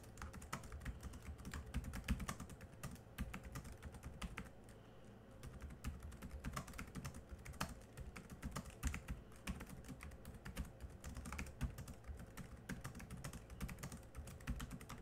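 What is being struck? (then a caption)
Plastic laptop keyboard keys. Fast typing with the fingertips of both hands on the black plastic chiclet keys of a small silver laptop's plastic keyboard. A dense stream of short, dry clicks and soft low thuds plays throughout, each tap dying away almost instantly. The typing eases briefly around the five-second mark before picking back up.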